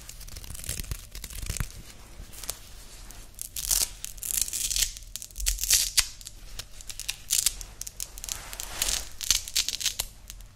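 A grey woven nylon loop watch band with a hook-and-loop closure is held in both hands, scratched with fingernails and pulled open. Bright, rasping bursts of scratching and tearing repeat in uneven waves across the clip, with most of the energy high and hissy over a faint low background hum.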